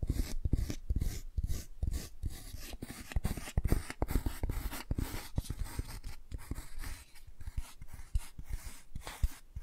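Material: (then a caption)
Cardboard. Long nails scratch and rub the laminated cardboard cover and back of a closed hardcover children's board book held in the hands. The result is a quick run of dry, scratchy strokes with soft low thumps, each stroke dying away almost at once.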